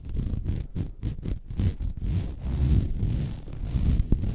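Long red nails scratch the surface of a flat white woven vinyl mesh placemat. Short, irregular strokes in the first two seconds give way to denser, continuous rubbing with a low, rumbling texture, and a brief sharp tick stands out near the end.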